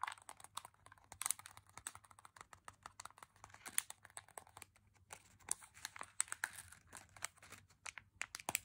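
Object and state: Plastic candy bag, crinkled and tapped.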